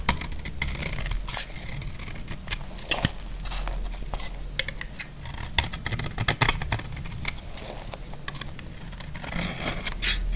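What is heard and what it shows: A utility blade scrapes crunchy flakes off a solid, dry pink bar of soap. Dense, irregular crackling scrapes and sharp snaps follow one another quickly with bright, gritty edges over a low, steady rumble.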